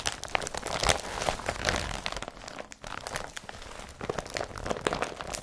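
Fingertips and nails crumple and rub a folded, empty blue IKEA BRATTBY carrier bag made of woven polypropylene. Dense, bright crinkling and rustling is broken by sharp crackles, with a brief quieter stretch in the middle before the crumpling builds again.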